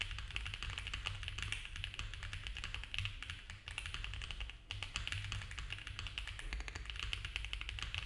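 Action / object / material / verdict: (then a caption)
tap / mechanical keyboard with plastic keycaps / plastic / none. A compact mechanical keyboard with cream ABS keycaps on a dark case, a polycarbonate plate and foam filling is typed on fast by both hands with the fingertips. A dense, steady stream of rapid plastic key taps carries a bright clack over a low thocky body, with each stroke dying away almost instantly. The rhythm dips briefly twice before the fast typing picks right back up.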